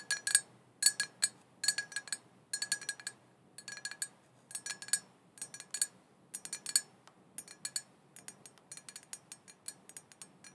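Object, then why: Small glass cauldron pot. Long painted fingernails tap and scratch all around the sides of a small, hollow, black glossy glass cauldron printed "Witches Broth," open with no lid and apparently empty. Quick bright clinks and short scratchy ticks come in rapid bursts with brief pauses between them. Each note is high and ringing but dies away almost instantly, with nothing in the low end.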